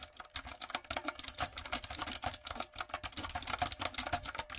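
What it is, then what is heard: Mechanical keyboard with plastic keycaps. Long nails and fingertips type quickly on a retro typewriter-style backlit mechanical keyboard with round plastic keycaps. The result is a steady stream of short, bright clicks and clacks with sharp attacks and almost no ring, plus a faint low thud under each keystroke.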